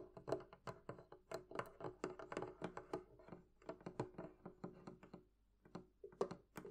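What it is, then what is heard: Hollow wooden barrel chest. Fingertips and nails tap the wooden sides and top of a hollow, closed wooden barrel-shaped chest. A quick, irregular run of short, dry knocks and clicks rings briefly with a hollow tone around 400 Hz. It fades into a brief pause near the end before a few final taps.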